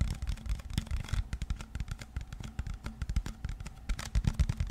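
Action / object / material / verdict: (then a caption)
tap / plastic water bottle / plastic / none. A clear plastic water bottle is held close to the microphone in both hands while fingertips and nails tap and scratch its body and label. The result is a dense run of quick, dry, low thuds and crinkly scratches that die away almost instantly.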